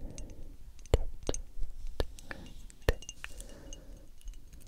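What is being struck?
Small frosted glass perfume bottle with metal cap.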